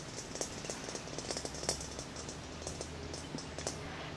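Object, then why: Glass plasma ball. A large, hollow, clear glass plasma ball is tapped quickly with fingertips and short nails, producing a run of light, quick clicks. Each tap gives a brief, high glassy ring that fades fast, over a faint low hum.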